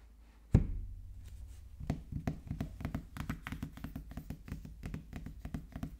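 A sealed, printed cardboard iPhone 13 Pro Max box, small and lying face-up on a wooden table, is tapped and knocked with the fingertips of both hands. One sharp, heavy knock is followed by a brief lull, then a steady flurry of quick, light taps. The sound is dull, hollow and low-pitched, with each tap dying away almost instantly.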